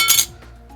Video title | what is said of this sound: X1 Credit Card Unboxing -- I got the first X1 Card ever made! | The Apple card, which is titanium.